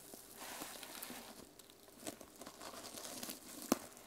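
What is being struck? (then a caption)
Plastic sequin-covered journal cover. Long nails scratch and brush the plastic sequins on a small mermaid sequin hardcover journal resting on a wooden table, before it is held up in both hands. Soft, dry, crinkly rustling rises and falls in quiet bursts, with one sharp click near the end.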